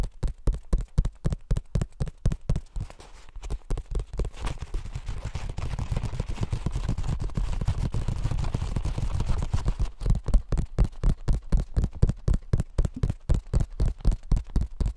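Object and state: Paperback book pages.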